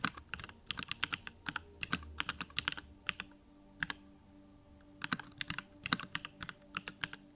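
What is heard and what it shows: Fingertips of both hands type on a compact 65% Bakeneko65 mechanical keyboard with Durock lavender switches, a pink aluminum case, plastic keycaps and blue backlight, resting on a desk. Bright, crisp keystroke clicks come in quick, uneven bursts, with a short pause in the middle, over a faint steady low hum.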